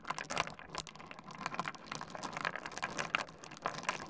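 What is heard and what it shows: Fingertips dig into, stir and rub a heap of small, solid stone pebbles on a wooden desk. The result is a dense, continuous patter of quick, dry, bright clicks and rattles with almost no low end, rising into slightly louder clusters as the stones shift against each other.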